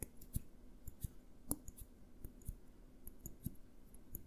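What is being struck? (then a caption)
Small glass jar. A small clear glass jar with a green label is held on its side and tapped with fingertips and nails. The result is a quick, irregular run of soft, dry clicks: low, muted knocks with faint bright ticks and no ring, all at a quiet level.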